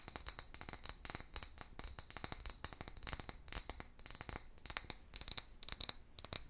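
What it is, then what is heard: Clear glass bottle. An empty, medium-sized hollow clear glass bottle with a paper label, held in one hand, is tapped rapidly with long fingernails. It gives a quick run of sharp, bright clinks, each with a short high glassy ring that dies away almost at once.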